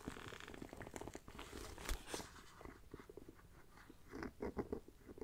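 Long black nails scratch and tap the textured surface of a small, hollow black pebble-grain faux leather backpack fitted with a metal bee brooch and striped webbing. Close, quiet, dry scratching rasps continuously, broken by soft, dull taps, with a few louder taps around the two-second mark and toward the end.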